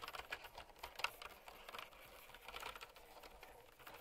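A mint and white plastic typewriter-style mechanical keyboard with round retro keycaps rests on a fur rug while long-nailed fingertips type on it. Quick, bright clicky switch presses patter in an uneven stream, each one short and sharp with very little low end.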